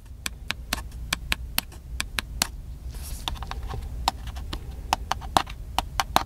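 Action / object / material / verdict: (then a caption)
tap / plastic handheld camcorder body / plastic / none. Fingertips tap the hollow body of a small black handheld plastic camcorder, giving quick, dry, clicky taps with a hollow plastic tone and bright attacks that stop almost at once. About twenty-one taps come in an uneven rhythm, with a brief soft rustle partway through, over a low steady hum.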